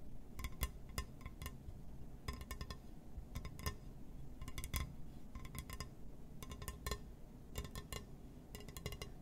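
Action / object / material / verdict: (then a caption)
tap / glass surface / glass / none. Fingers tap and scratch on a glass surface, making quick clusters of bright, clinking taps that die away almost instantly. The taps come in short bursts over a steady low rumble.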